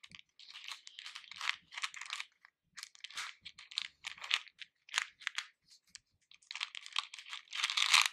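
Fingers with painted nails rummage and stir a pink plastic bowl full of hard-shelled capsule candies. The pieces make quiet bursts of many small, bright clicking and crinkling sounds with almost no low end. Each click dies away at once.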